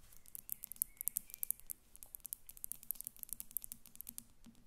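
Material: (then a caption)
Glass. Long acrylic nails on both hands tap the sides of a glass perfume bottle standing on paper on a glass table. The taps come as a quick, uneven patter of quiet, sharp, high clicks that stop instantly, over a faint low hum.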